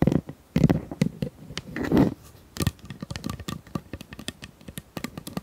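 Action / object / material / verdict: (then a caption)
tap / corrugated plastic pop tube / plastic / none. Long nails tap and scratch along the ridges of a hollow pink corrugated plastic pop tube about 25 cm long. Dozens of short, dry, hollow clicks with a low body come in quick irregular runs, broken by a few longer raspy scrapes across the ridges.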